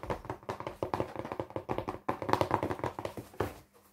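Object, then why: Small closed cardboard box. A small, hollow, closed brown cardboard box is held in both hands and tapped fast with the fingertips and nails on its flat top and sides. About two dozen quick, dry, hollow taps ring out in an uneven stream, each dying away almost at once, with a papery click over a mid-range body.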